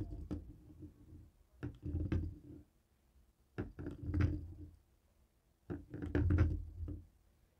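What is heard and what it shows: A jade roller taps and knocks on a dark grey plastic cable TV remote resting on a wooden table. Three clusters of quick, dull knocks are heard, low and thuddy with little brightness, each dying away fast, separated by short silences.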